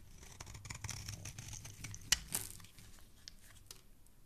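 A metal utility knife blade scrapes and carves the face of a solid, hand-sized pink soap bar held in the fingers, shaving it into crumbly pieces. The sound is a dense, bright, crackly scraping with a faint low rumble underneath, broken by a sharp snap a little past two seconds and a second crisp scrape just after, then trailing off into quieter, softer scratches.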